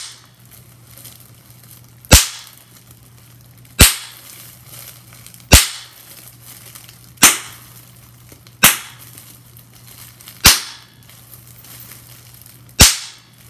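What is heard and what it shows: Air-filled bubbles on a clear plastic bubble wrap sheet are squeezed and popped with fingertips and nails, giving seven sharp, bright pops at uneven intervals over a faint crinkly background. Each pop snaps and fades within a fraction of a second, over a steady low hum.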